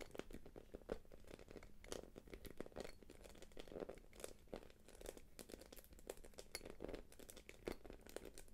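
Long nails tap and scratch the quilted face of a small, light-blue, glossy quilted plastic purse held upright. Quiet, rapid crinkly clicks and scratchy rustles follow one another closely, with a soft plasticky body around 360 Hz and sharp, bright tips that fade almost instantly.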